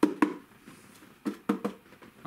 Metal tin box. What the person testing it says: je pensais que j'avais un vrai lingot et tout, mais en fait ça sonne un peu creux